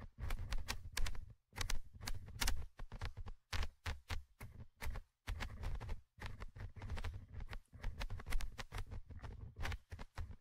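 A thin orange stick tip scratches and taps the small metal mesh microphone grille of a Tascam handheld recorder. Rapid bursts of close, crackling scrapes and clicks come in clusters separated by short silences. Deep, boomy thumps from the grille contact sit under bright, gritty scratching.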